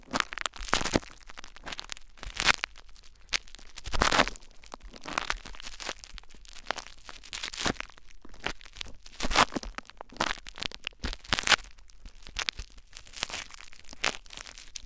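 Cupped hands press and rub clear plastic bubble wrap laid over a recorder, working it with their fingertips. Dense crinkling and crackling is broken by sharp, bright pops and cracks that stop dead with no ring. Louder bursts recur every second or two over a steady rustle.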